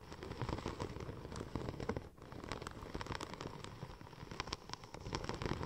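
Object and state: Vinyl wrap film tapped and scratched.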